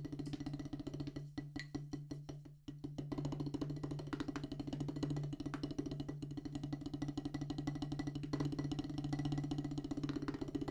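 A solid black rubber drum practice pad on a wooden base is tapped with wooden drumsticks, including strokes with the stick shaft. A rapid, steady run of dull, woody taps with a low thud around 145 Hz dies away quickly after each hit. The playing thins briefly near the start, then continues evenly to the end.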